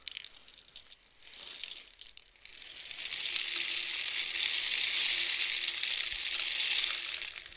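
A long, hollow, painted cardboard rainstick with loose filling is tilted one way, then the other, by hand so the filling falls through the tube. At first there are scattered bright rattles and short trickles. Then a dense, high, hissing cascade builds into a steady rain-like patter that holds for several seconds before thinning out at the end.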